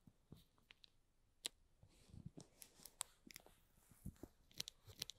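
Short fingernails scratch along the top edge of the plastic shrink wrap on a small, hollow DESAL Lite cardboard product box. The result is a quiet run of bright, crisp crinkles and scratchy clicks with very little ring, plus a few soft low thumps from the box.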